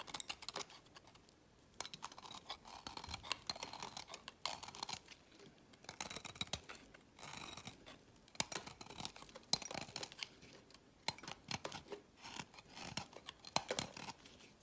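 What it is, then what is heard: Bar soap being carved. A small solid piece of pink bar soap, held in the fingers, is shaved and cut with a utility knife blade, shedding crisp flakes. Quiet, bright scraping and cutting strokes come in irregular bursts, with many sharp, short ticks and little low end.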